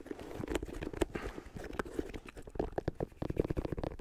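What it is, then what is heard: Rubber shoe sole. Fingernails scratch along the ridged rubber sidewall of a white sneaker's textured grey-white rubber sole edge. The result is a quick, uneven run of dry, clicking scrapes and soft taps with a low-mid, muted tone and very little brightness.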